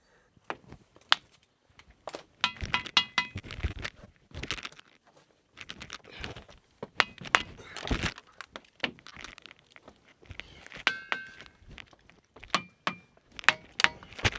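Volcanic dyke rocks on a hill in Telangana are struck one after another in a rapid series of sharp hits, each giving a short, clanging, bell-like tone pitched around 1.8 kHz with bright overtones. Nearly all of the rocks ring.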